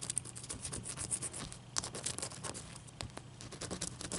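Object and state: Large ice cube scratched with nails.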